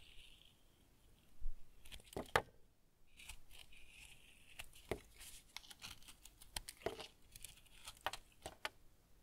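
A small blade shaves a solid brown bar of semi-hard household tar soap held in one hand, scraping and carving curls that pile up on a wooden table. Short, crisp scraping strokes with sharp, bright edges repeat irregularly over a quiet, dry background.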